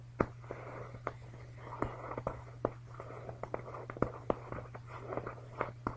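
Both hands scratch and rub a large, puffy down-filled comforter with a shiny green synthetic nylon or polyester shell, bunched up on a bed, using short fingernails and fingertips. The result is a soft, crinkly swishing of the fabric, broken by many quick, sharp scratching ticks, over a steady low hum.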